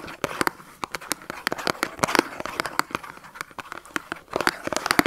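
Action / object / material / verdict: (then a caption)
tap / thin cardboard soap carton / cardboard / none. A small Dove soap carton made of thin printed cardboard, with the soap still inside, is held upright and tapped with short fingernails. The result is a quick, irregular run of crisp, dry clicks with papery crinkle and almost no ring, with denser clusters near the middle and end.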